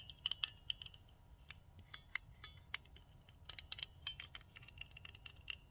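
Long nails rapidly tap and scratch the plastic handles of a pink plastic nail tip cutter with a metal blade. The result is a quick, irregular series of sharp, bright clicks with short scratchy strokes, each dying away almost instantly over a faint low background rumble.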